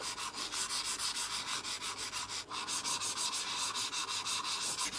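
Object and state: Mouse sliding on a textured glass mousepad.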